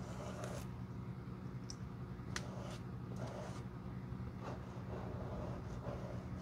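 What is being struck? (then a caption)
Leather shoe sole. A glue brush with stiff bristles sweeps across the flat, solid leather outsole of a black quilted shoe held in the hand. It makes soft, repeated bristly scraping strokes over a steady low hum, with a few brief brighter ticks.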